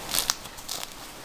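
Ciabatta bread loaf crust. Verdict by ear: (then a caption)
Crisp. A baked ciabatta loaf is handled, and its crust gives off four short, dry, high-pitched crackles over about a second. This loaf also crackles, a sign of a crisp, well-baked crust.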